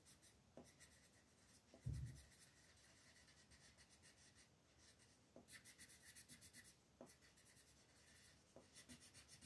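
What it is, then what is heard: Colored pencil on paper. A green colored pencil scratches and rubs short, repeated strokes across a thin white paper mandala coloring sheet lying flat on a table, filling in the pattern while the other hand rests on the sheet. The strokes make a quiet, bright, rhythmic rasping texture, with a brief low thump early on and bursts of faster scribbling later.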